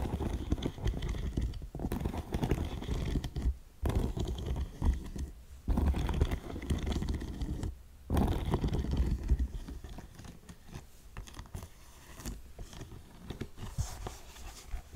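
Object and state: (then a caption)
Suede ankle boot with metal studs. Long nails scratch the suede and small metal studs of a black faux suede ankle boot that is hollow and empty. The result is dense, low, rustling scrapes in bursts separated by brief pauses, fading softer in the second half.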